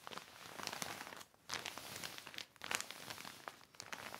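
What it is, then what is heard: Heavy plastic sheet being crinkled. Fingertips and a cloth smooth, rub and crinkle a large black heavy plastic sheet lying on a red blanket. Bright, dry crinkling and crackling comes in three stretches separated by two brief near-silent pauses, with little low end. The sound stops sharply and does not ring on.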